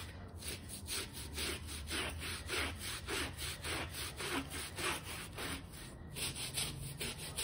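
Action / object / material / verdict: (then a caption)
scrape / shaggy fabric bath rug scrubbed with a plastic bristle brush / fabric / none. A small, damp, shaggy textile bath rug with fringe rows, light pink but turned gray with dirt, rests on a foam mat and is scrubbed with a small white plastic bristle brush while a hand holds it down. Rhythmic, bright, rasping strokes repeat a little under two per second over a low, steady hum.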